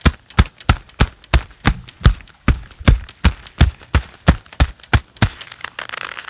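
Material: Leather.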